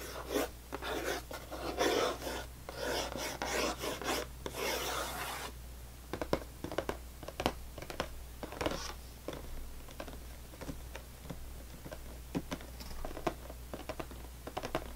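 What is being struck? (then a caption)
Closed cardboard cracker box. Long nails rapidly scratch and tap the top of a full, closed cardboard saltine cracker box. For the first five seconds or so, dense, bright, papery scratching dominates. It then gives way to quick, dry, sharp taps with very short decay over a steady low hum.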